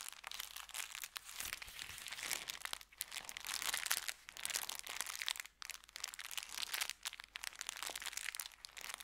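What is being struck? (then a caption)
Kraft paper bag. An empty brown kraft paper bakery bag, folded into a small stack on a felt mat, is pressed and crinkled by fingertips. The result is continuous bright, dry crackling and rustling in uneven bursts with brief pauses, almost all high in pitch with no low end.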